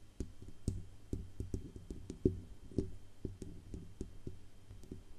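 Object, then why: Metal USB microphone body. Long acrylic nails tap along the band under the grille and down the hollow metal body of a silver Blue Yeti USB microphone. The result is a steady run of quick, dull knocks with a low, hollow resonance around the mid-low range. Each tap dies out almost instantly over a faint background hiss.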